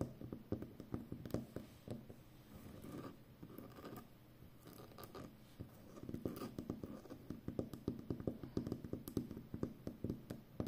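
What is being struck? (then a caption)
Roll of plastic packing tape. Long nails scratch and tap the glossy outer surface of a full roll of brown plastic packing tape. The result is quiet, dry scratching broken by many quick, short taps with a low-mid body. There are steady scraping passes in between and a few louder clicks.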